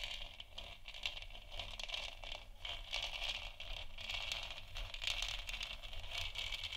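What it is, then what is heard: Plastic moon lamp scratched with nails. Long nails on both hands scratch the front surface of a lit, hollow plastic moon lamp sphere. The sound is a quiet, steady, bright scratching and rasping that swells and fades in dense strokes, over a faint low hum.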